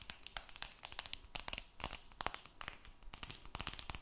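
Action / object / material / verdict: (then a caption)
tap / smartphone with an aluminium back / aluminium / none. Long red nails scratch and tap the silver metal back of an aluminum-backed smartphone held near the mic. The result is a quiet, dense run of quick, dry clicks and crinkly scrapes that are bright and high, with very short ring and a faint tone near 1.1 kHz.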